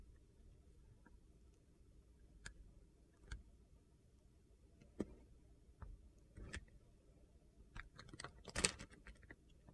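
A solid pale blue Coast soap bar, held in the hand, has its surface shaved into curls with a utility knife blade. Quiet, crisp scraping and clicking strokes with bright high edges sound at irregular intervals over a low, steady background rumble. The cuts grow denser and louder toward the end.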